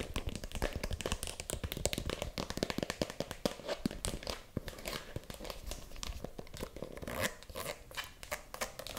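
A small pink faux leather mini handbag with handles, hollow and held in one hand, is tapped and scratched with long acrylic nails. Fast, dense clicking taps mix with scratchy, crinkly rubbing across the whole clip, and each tap dies away almost at once.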